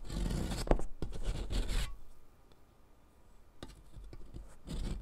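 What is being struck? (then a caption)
Sidewalk chalk stick on a metal mesh rasp. A solid blue sidewalk chalk stick, held with long nails, is rubbed down a metal mesh foot-file rasp over cardboard, and blue powder collects. Dense, gritty grating strokes with a bright, hissy edge fill the first two seconds, then fall to a near-silent pause before rougher scraping returns and builds toward the end.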